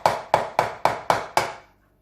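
A raw chicken egg, held snugly, is tapped against the bowl six times to crack its shell. Each tap is a sharp, crunchy click centered around 850 Hz with a bright edge, fading quickly. The shell cracks.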